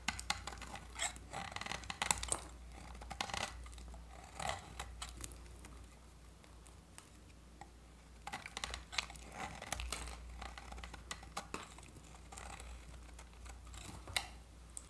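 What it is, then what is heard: Dry soap bar. A segmented metal utility-knife blade scrapes crisp shavings from a solid, hand-sized bar of dry, varnished orange soap held in the hand. Bright, dry scratching and crackling comes in uneven bursts, with quieter scraping between strokes over a steady low hum.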